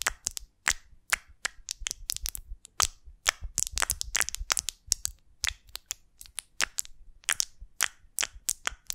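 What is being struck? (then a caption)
Beeswax honeycomb on a wooden twig. A large, elongated golden beeswax honeycomb with solid wax cells, built around a small wooden twig, is held in both hands and scratched and tapped with long lilac acrylic nails. The result is a quick, uneven series of sharp, bright, dry clicks and crackly scratches that die away almost instantly, with very little low end.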